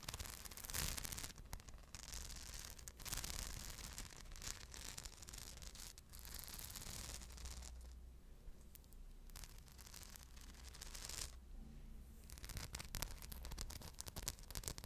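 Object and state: Rhinestone-covered purse.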